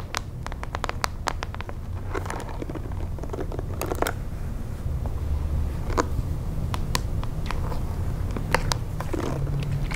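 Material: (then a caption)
Plastic. Long nails and fingertips scratch and rub the handle and plastic bristles of a hand-sized pink plastic detangling hairbrush. Sharp, bright plastic clicks and crackly scrapes are scattered throughout, layered over a steady low rumble.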